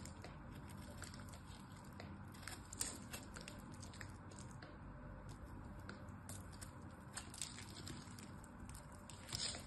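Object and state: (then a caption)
Glycerin soap bar being cut. A blade carves a solid pink glycerin soap bar into small cubes, producing soft crunchy, squishy cuts with scattered bright crackling clicks. These sit over a steady low rumble, with a few sharper snaps standing out near the middle and end.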